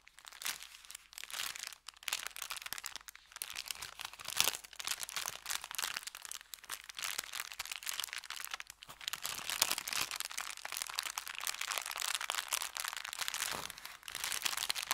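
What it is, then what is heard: Crinkled paper bag. An empty, folded brown kraft paper bakery bag is opened, bent and crinkled between the fingers. The result is a dense, bright crackle of sharp crunchy rustles that continues steadily, with only a few brief dips in loudness.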